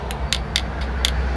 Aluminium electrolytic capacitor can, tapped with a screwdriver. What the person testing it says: Yang atas ini kayak kopong suaranya.